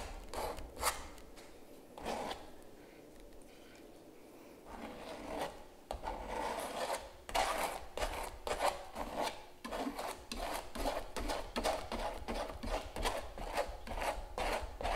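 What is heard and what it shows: A palette knife is dragged and scraped across the surface of a large, hollow-backed stretched canvas print, making dry, rasping strokes with a papery, drum-like resonance. After a few scrapes comes a quieter stretch of light rubbing, then a steady run of quick, uneven scraping strokes at about two per second to the end.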